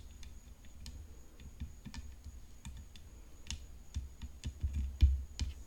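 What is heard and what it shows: Long painted fingernails tap on the hollow composite frame of a graphite composite tennis racket decorated with rhinestones. Quick, irregular clicky taps with a low, hollow thump underneath keep going over a faint, steady high tone. The taps grow louder and sharper toward the end.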